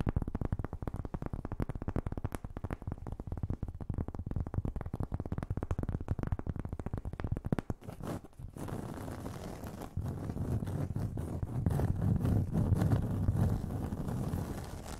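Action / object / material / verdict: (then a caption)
tap / cork board coaster / cork / none. Long nails tap and scratch across a round, flat, solid cork board coaster, larger than a hand, held up close to the microphones. For about eight seconds there is a fast, dense run of dull, muffled taps. After a short pause, a steadier, louder scraping rub takes over with a low, thudding body.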